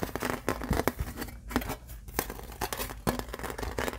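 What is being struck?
Thin embossed aluminum license plate.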